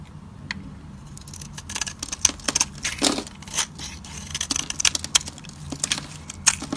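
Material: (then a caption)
Soap. A metal utility-knife blade carves and scrapes a hand-held solid purple Fa soap bar that is dry and hard, with shavings flaking off. Bright, crisp scraping strokes and sharp crackly snaps come in quick irregular bursts over a faint low hum.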